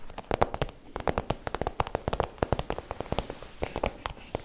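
Long nails tap and scratch the front of an iridescent holographic PVC zip pouch, hollow and empty-looking, while hands crinkle the plastic. Rapid, dry taps with short plastic clicks and crackly rustling run through the whole clip, each tap dying away almost at once.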